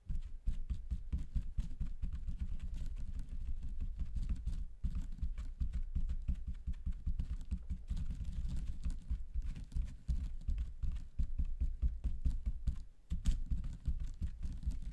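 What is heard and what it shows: Fingertips tap quickly on the ends of a pack of paper toilet rolls in thin clear plastic wrap. The result is a dense, rapid patter of soft, muffled low thuds with almost no ring, broken by brief pauses near 5 and 13 seconds.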